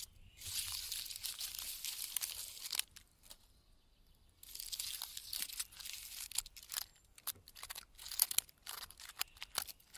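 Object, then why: Pine tree trunk bark. Fingertips with red-painted nails scratch the thick, flaky bark of a large, solid standing pine trunk in a forest. The result is bright, dry, crackling scratches in dense bursts, with a near-silent pause around the middle. It then continues in shorter, sharper rasps and snaps.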